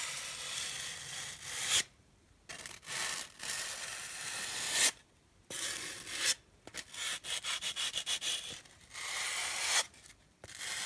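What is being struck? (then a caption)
Polystyrene foam packing block. Two flat, solid, hand-sized white polystyrene foam packing blocks are held together and rubbed and scratched with long dark-painted nails and fingertips. The result is dry, bright, hissy friction with a squeaky edge, in bursts of varying length separated by brief silences and a quick run of short strokes near the end. There is almost no low end.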